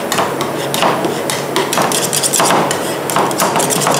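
Two metal spatulas with wooden handles, one in each hand, knock and chop repeatedly through a layer of Nutella ice cream mix onto a large, round, flat, solid stainless steel cold plate for ice cream rolls. The result is a steady run of rapid, bright metallic taps and clacks.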